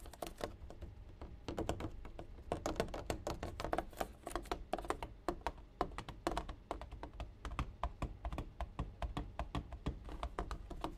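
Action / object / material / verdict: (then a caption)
tap / plastic gallon bottle of water / plastic / none. A large, ridged, clear plastic one-gallon water bottle, full and capped, is tapped and drummed on its side with fingertips and nails. The result is a steady stream of quick, light taps, each a short, dull thud with a bright clicky edge that dies away almost at once.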